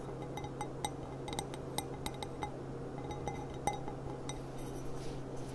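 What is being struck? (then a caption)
Glass stemmed goblet. A clear, empty stemmed glass goblet with a gold rim and a small price sticker sits upside down on a table while its bowl is tapped with long black-painted nails using both hands. The taps come as a quick series of light, bright clinks, each with a short glassy ring around 830 Hz over a steady low hum.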